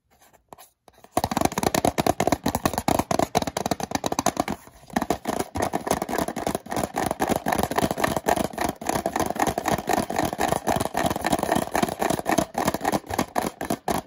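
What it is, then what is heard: Cardboard product box. Fingertips and nails scratch and tap the front and side panels of a small printed cardboard product box for a Leef iBridge 3 flash drive, with a plastic hang tab, held in the hands and likely not empty. After a quiet start, dense, rapid, dry scratching and tapping runs steadily with a brief pause near the middle, giving a papery, mid-pitched texture with very short, dead taps.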